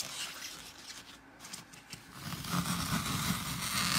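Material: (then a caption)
Floral foam. Fingertips press and poke into a hand-sized square block of dry, porous green floral foam topped with colored glitter stripes, crushing the solid foam. The result is a crunchy, scratchy crackle with bright, high texture that stays softer at first, then grows louder and denser in the second half.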